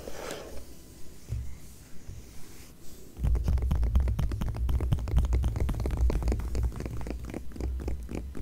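A palm and long nails rub and scratch across the coated paper of an open glossy magazine page showing a Seabourn ad. Soft, quiet brushing comes first, then at about three seconds it turns into louder, rapid scratching with a dense, low rumbling body and bright crackling edges that continue to the end.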